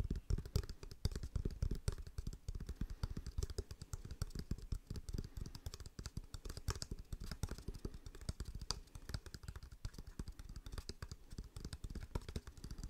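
A wooden object is tapped with the fingers in a rapid, continuous flurry of soft, dry taps for about 13 seconds. Each tap is short and damped with almost no ring, and the sound is mostly low and thumpy with little high-frequency content.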